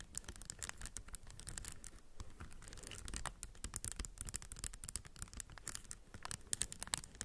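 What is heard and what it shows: A plastic puzzle cube with raised textured stickers is held in both hands while long nails tap and scratch across its raised plastic tiles. The result is a dense, steady run of quick, dry clicks and scratchy strokes, bright and crisp on top with a soft low rumble underneath, and no ringing after each tap.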